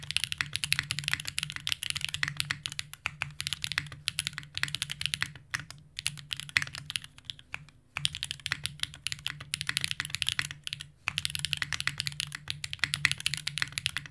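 A compact green Unikorn R2.1 mechanical keyboard with Zaku's, plastic keycaps and an aluminum plate, is typed on quickly with the fingertips of both hands. It produces dense, bright, crisp key-press clacks over a faint low hum. The typing slows into sparser clicks from about 5 to 8 seconds, pauses briefly near 11 seconds, then resumes at full pace.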